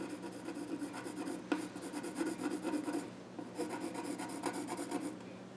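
A pencil scratches and rubs along the grain across the flat top of a small wooden child's stool while drawing. The result is a dry, raspy scratching that runs in short strokes with a sharp tick around the middle, a brief lull just after, and then more scratching, all over a faint steady low hum.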